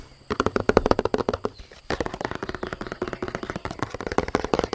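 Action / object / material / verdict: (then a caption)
tap / plastic bottle / plastic / none. A large, hollow white plastic bottle with a red cap and purple base is held in the hands and tapped with long nails. The result is a rapid series of short, dry, hollow clicks with a mid-range plastic tone, broken by a brief pause before the tapping resumes.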